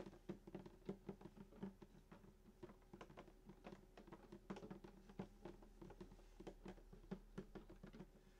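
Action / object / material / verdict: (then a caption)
tap / wooden acoustic guitar body / wood / none. A sunburst acoustic guitar lies flat while both hands tap the hollow wooden top around the bridge with their fingertips in a fast patter. The many soft, dull knocks are short and low, centered near 195 Hz, and a faint steady ringing, possibly from the strings, lingers underneath.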